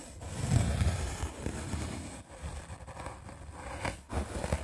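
A small red-handled paint brush with dark bristles is scrubbed quickly across the top of a solid, white, rectangular melamine foam sponge held in the hand. The sound is a fast, uneven, rough scratching and rubbing, heaviest in the low rumble with a faint bright hiss. It comes in bursts separated by brief dips.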